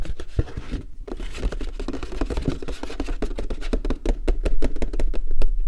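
Fingertips and nails tap and drum on the flat bottom and side wall of a large, empty, hollow paperboard popcorn bucket held upside down. The result is a fast, irregular patter of short, dull, hollow thumps with a deep low body and brief crisp clicks. Each tap dies away almost at once.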